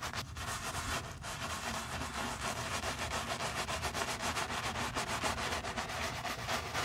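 A stiff-bristle brush with a wooden handle scrubs the soap-foamed leather upper and heel of a single white leather Miu Miu low-top sneaker held in a gloved hand. The result is a steady, rhythmic, bristly scrubbing hiss, bright and broad, with quick back-and-forth strokes running continuously throughout.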